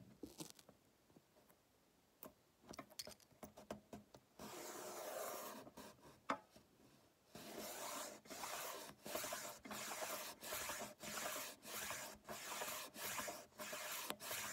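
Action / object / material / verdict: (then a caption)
scrape / wooden ruler wrapped in painter's tape / wood, tape / none. Fingertips rub and scratch along the length of a solid wooden ruler wrapped in blue painter's tape, held close. It opens with scattered light scratches and taps, then a longer continuous rub, then settles into a steady series of short, bright, raspy strokes separated by brief pauses.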